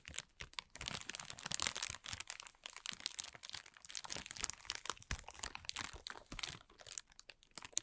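A thin, clear, transparent plastic film bag lies crumpled while it is scratched and rubbed with the fingertips and short nails of both hands. Dense, bright crinkling and sharp crackles come in quick, uneven bursts throughout, with little low-end weight.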